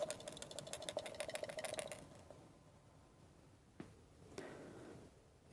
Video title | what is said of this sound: How to fix Isuzu 1.7L EDU 8971891360 , 8971891361 , 8971891362 - Diesel pump EDU/ECU | it looks like it has something loose inside the bottom